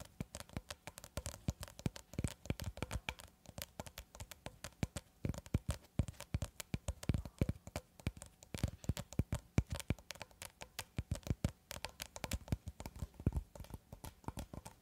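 Long red acrylic nails tap and scratch the clear plastic film of a long cylindrical cling film roll held horizontally, with the roll brought close at the end. A steady stream of quick, dry taps with soft low thuds and light scratchy crackle runs throughout, each tap dying away almost instantly.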